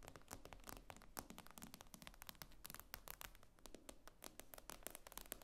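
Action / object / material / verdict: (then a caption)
tap / tablet with glass screen / glass / none. Long nails tap rapidly and irregularly on the glass screen of an iPad lying flat. Each tap is a short, dry, bright click that dies away almost instantly, and the taps come in quick clusters over a steady low hum at a quiet level.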